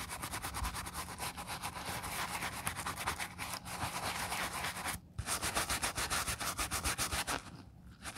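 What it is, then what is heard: Leather flat shoe being scrubbed. A black quilted leather ballet flat, empty and covered in soap foam, is held in a gloved hand and scrubbed with a wooden-handled bristle brush. Quick, steady bristle strokes make a dense, bright scratching hiss with a rapid rhythm. There is a brief pause near the five-second mark and a softer stretch toward the end.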